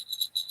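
A small bell attached to a costume ears headband is shaken, giving a few quick, bright, tinkly jingles centred near 3.9 kHz with very short rings. The bell sounds quiet and doesn't ring very loud.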